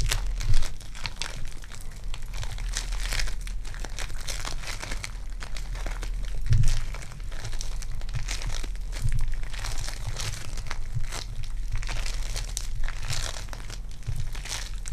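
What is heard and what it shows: Purple foam-bead clay is squished and pulled apart between both hands, giving a continuous crinkly, crackling texture of fine bright pops over a steady low hum. Slightly louder squishes stand out near the start and around the middle before the crackle settles back to an even level.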